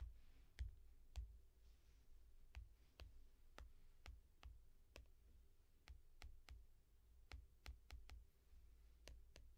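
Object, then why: Tablet glass screen in foam rubber case. A single long-nailed finger taps the reflective glass screen of a small tablet in a yellow foam rubber case, making 17 short, sharp clicks at an uneven pace. Each tap is dry and bright with almost no ring, over a steady low hum.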